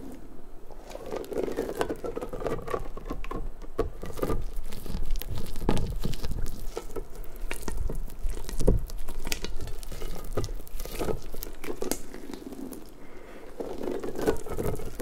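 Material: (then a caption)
Rubber. A large, hollow, pink, stretchy rubber puffer ball is stretched wide by long-nailed hands, then squeezed, its rubber spikes flapping. The clip is an irregular patter of soft, rubbery taps, crinkles and low thumps, with faint squeaky tones gliding up and down as the rubber stretches, continuing for about 15 seconds.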